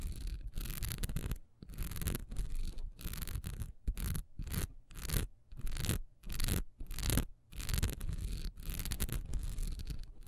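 Long nails scratch the honeycomb-textured side of a solid wax pillar candle, which is lying down at first and then picked up. Fast, dry scratching comes in irregular bursts separated by brief silent pauses, each burst a rough, bright rasp with a soft low rumble underneath.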